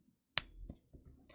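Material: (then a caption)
Silver. A silver coin is rung in a ping test: a sharp strike produces a bright, high, bell-like ring that holds for about 0.4 seconds before fading. Faint low handling sounds follow. The clear ring marks it as real silver.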